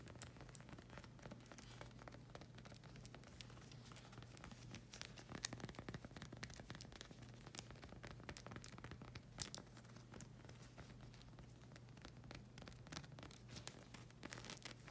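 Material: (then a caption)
Rubber. Long red acrylic nails scratch the sole of a solid black rubber slide sandal with a hexagon tread and a flag-print strap. A dense, steady run of quick, bright scratches and crackly ticks plays over a constant low hum, with a few louder sharp strokes standing out.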